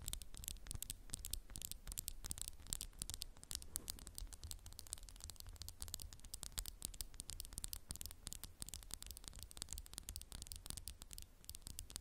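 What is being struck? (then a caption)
Glass candle jar. Fingernails tap and scratch quickly over a candle in a textured glass jar, making dense, dry, bright clicks with almost no ring. The tapping runs steadily and quietly the whole time over a constant low background hum.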